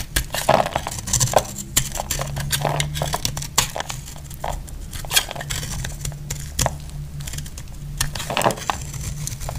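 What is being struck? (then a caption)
Bar of laundry soap cut with a blade. A dry, hard, cream-colored 72% laundry soap bar held in the hand is shaved with a utility knife blade, producing crumbly flakes. Repeated crisp, bright scraping and cutting strokes with short crackly bursts play over a low, steady hum.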